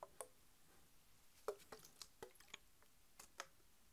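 Long white nails tap a Mountain Dew bottle made of PET plastic, full of green soda and lying on its side. Several sharp, brief clicking taps are spaced irregularly across a quiet background. Each tap has a bright, hollow tick that dies away almost at once.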